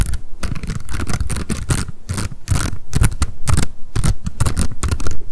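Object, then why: Spiral-bound paper notebook with card cover. A small pink m.memo spiral-bound paper notebook with a card cover is held in the hands and tapped and scratched quickly with long decorated acrylic nails. The result is a dense run of fast, dry taps with a soft low thump under bright, crackly scratching bursts.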